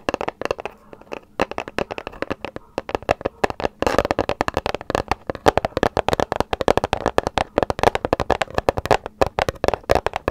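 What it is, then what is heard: Paper gift bag. A small, hollow, light grey paper gift bag with round prints and a handle is tapped and scratched rapidly with long nails close to the microphone. The result is a dense stream of short, dry, crisp taps and papery crackles with almost no ring, centred in the midrange with some brighter edges, continuing steadily for about ten seconds.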